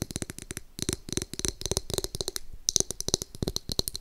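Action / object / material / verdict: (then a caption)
tap / plastic hairbrush back / plastic / none. Long nails tap and scratch the back of a pink glitter-backed plastic hairbrush, which is turned at the end to show the bristle side. A quick, uneven run of sharp, dry clicks with bright highs and a faint hollow knock underneath, each tap stopping almost instantly with scratchy rasps between the bursts.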